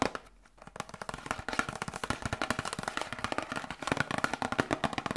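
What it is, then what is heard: Cardboard medicine box. A small, hollow cardboard Grippostad medicine box is tapped rapidly with long nails and fingertips. After a brief quiet moment at the start, a steady stream of short, dry, crisp clicks and soft thuds follows, with no ringing.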